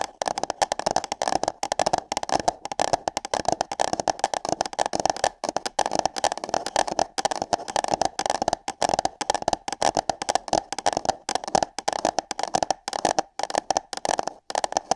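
Long nails rapidly tap and scratch on hollow paper cups placed over the ears of a microphone. The result is a dense, uneven stream of dry, clicky taps with a hollow midrange tone around 770 Hz and a scratchy high-end hiss. Each tap dies away almost instantly, with no ring.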